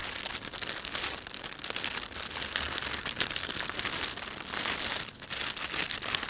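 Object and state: Plastic shopping bag being crinkled.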